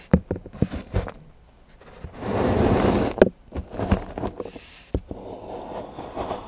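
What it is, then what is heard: Milk chocolate bar being scraped. A large steel knife shaves and scrapes the edge of a solid milk chocolate bar into curls on a patterned board while fingertips hold the bar. Sharp, dry ticks and taps alternate with a longer, rising-and-falling scraping rasp in the middle. Softer, grainy scraping and scattered clicks follow.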